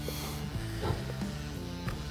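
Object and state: Nothing is struck.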